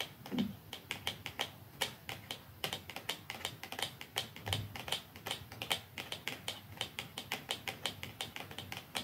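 Long nails tap quickly along the top of a small, slim, hollow dark cardboard mascara box lying flat, with a second identical box lying untouched above it. Crisp, bright clicking taps come in a fast, steady stream with very short decay and a faint hollow tone around 3 kHz.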